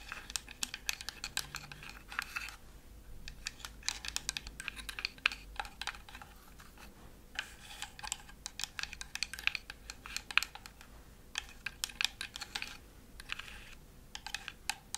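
Long fingernails tap and scratch a flat, laser-cut wooden Christmas village house decoration with lights. Quick bursts of bright, dry clicks and scratchy rasps come with brief pauses between them, with almost no low end and no ring after each tap.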